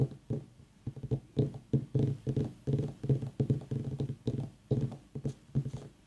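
Long nails tap the top of a whole white ribbed mini pumpkin, then a hand grips it and taps its side. The result is bursts of quick, dull, hollow knocks with a low pitch and almost no ring, separated by short pauses.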